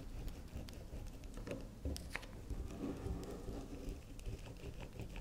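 Long nails tap and scratch the edge and face of a solid, round pink swirl bar of soft soap standing on a table. The result is quiet, muffled, low patter with soft scraping and a few brighter ticks.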